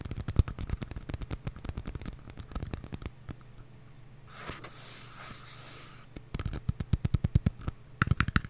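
A small, empty, hollow white paper cup held in one hand is tapped and scratched with long nails. Quick runs of dull, hollow taps with almost no ring give way to a soft, bright scratching hiss around the middle. The rapid tapping then resumes to the end.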